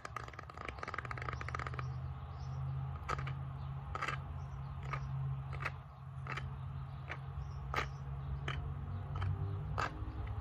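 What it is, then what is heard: Bamboo tray. Fingernails scratch and tap the flat surface of a small, solid bamboo board or tray with a raised rim, close to the mic. A dense, raspy scraping in the first two seconds gives way to sharp, dry, bright taps spaced through the rest of the clip. A steady low hum runs underneath throughout.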